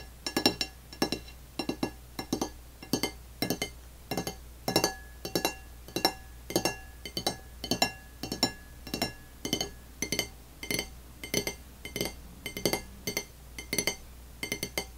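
Long nails tap on the surface of an empty dark blue glazed ceramic dinner plate lying flat on a table. The taps come as fast, uneven clicks, each a short, bright clink with a high ring that dies away almost at once. A faint steady low hum runs underneath.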